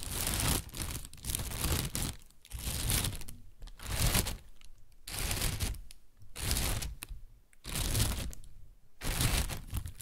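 An inflated, hollow white plastic bag is crinkled with the hands and tapped with fingertips and nails. Bursts of dense, bright crinkling and rustling alternate with quieter stretches of softer tapping and crackling, recurring in an uneven rhythm throughout.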